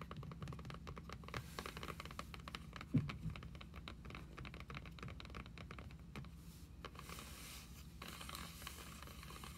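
Long acrylic nails tap and scratch across a solid red cloth-covered hardcover book with an embossed emblem, lying flat on a table. Quick, soft, dull taps mix with dry scratching over a steady low hum, with one louder thump near the three-second mark.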